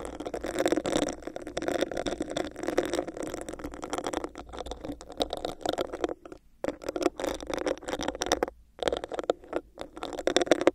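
Long nails scratch a hollow, empty, clear bumpy plastic cup held over a microphone, making a dense, continuous scraping rasp. The sound has a hollow midrange resonance and bright, crackly edges. It stops briefly twice, around the 6.5 and 8.7 second marks.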